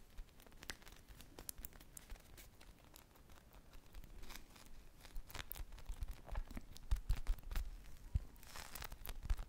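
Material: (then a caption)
Polyurethane foam. Long fingernails scratch the textured sprinkle surface of a hand-sized, purple-glazed polyurethane foam ice-cream pop squishy, and fingers squeeze the solid foam. The result is a quiet, close run of dry scratching and crinkly crackles, with short bright ticks over soft low thumps.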